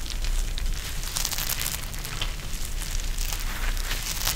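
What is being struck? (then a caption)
Gel bead eye mask with plastic shell. A pink eye mask with fabric trim and a clear plastic shell filled with gel beads is held in the hands and pressed and squeezed. This produces continuous crackling and crinkling with bright, sharp clicks over a steady low rumble.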